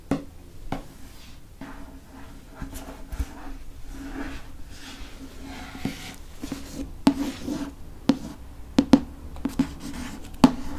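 A fingernail traces and scratches the back cover of a dark hardcover paper book, making a soft, steady scratching rustle over a low hum. Nine sharp, brief clicks stand out, mostly in the second half.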